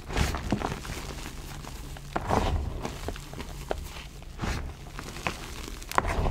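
Both hands with painted nails scoop, squeeze and rub a loose, dry pile of crushed grey-white Gholibn gym chalk crumbs and powder, letting them fall. The result is soft, low, muffled crunching and thudding, with brief crumbly crackles and a faint dry rustle between the louder squeezes.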